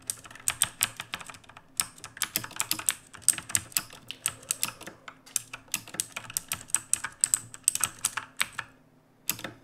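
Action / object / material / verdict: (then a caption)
tap / mechanical keyboard with plastic keycaps / plastic / none. Fingertips of both hands type on a black mechanical keyboard with plastic keycaps resting on a wooden desk. It makes a steady stream of sharp, bright clicks that stop almost instantly, over a faint low hum. After a brief pause near the end, a final short burst of clacks follows.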